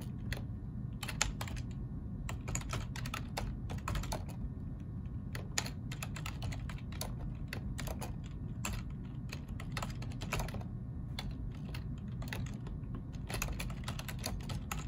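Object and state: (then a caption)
Plastic computer keyboard, typing. Fingertips of both hands type fast on a black plastic ergonomic computer keyboard, producing a steady stream of short, bright key clicks. The clicks sit over a constant low background rumble for the whole clip.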